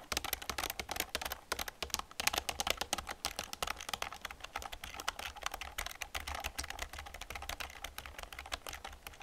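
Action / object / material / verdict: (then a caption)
tap / plastic computer keyboard / plastic / none. Fingertips and long nails type fast on an old black plastic computer keyboard with a hollow casing. A dense, continuous stream of sharp, bright, dry clicks and clacks stops instantly with no ring, over a faint low hum.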